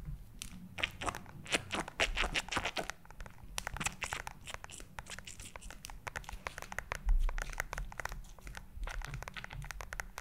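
A purple glitter silicone gel squishy toy filled with pink bead spheres is held in both hands near and above the mic and tapped with long nails. Rapid, crisp clicking taps and crinkly, crunching squishes run throughout with bright transients, over a steady low rumble, peaking in a louder burst around seven seconds.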